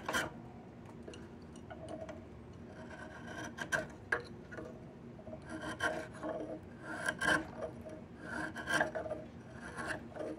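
A yellow-handled chisel scrapes repeatedly along a solid, peeled diamond willow stick. Quiet, dry rasping strokes come at an uneven pace, each with a thin, bright edge and a faint squeaky tone, settling back into a low hiss between strokes.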